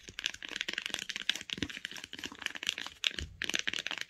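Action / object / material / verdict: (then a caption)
tap / hardcover book spine with paper and cloth covering / cloth-covered board / none. Long acrylic nails tap fast along the solid spine of a closed hardcover book with a printed paper/cloth spine. The result is a rapid, uneven stream of dry, bright clicks with almost no low end, each tap dying away at once with no ring.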